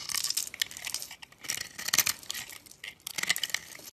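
A box-cutter blade scrapes and cuts through a solid, palm-sized bar of orange soap with yellow stripes, held in the hand and scored into a grid so crumbly small cubes fall off. Dry, crisp, bright crunching and scraping comes in three bursts separated by brief quieter gaps, with almost no low end.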